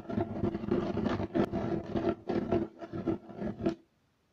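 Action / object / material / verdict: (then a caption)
scrape / woven fiber carpet / woven fiber / none. Fingernails scratch quickly and hard across a beige striped woven fiber carpet, making dense, rough scraping in rapid bursts with a steady low-mid tone. The scratching stops abruptly as the hands come to rest flat on the carpet, leaving near silence.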